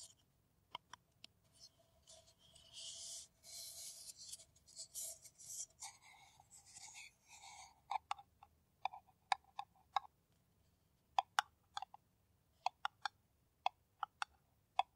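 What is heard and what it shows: An empty, hollow kraft paper coffee cup is scratched with long nails and turned in the hands, giving bursts of bright, papery scraping with a hollow midrange tone. In the second half, crisp, sharp nail taps on the cup follow one another with brief silences between them.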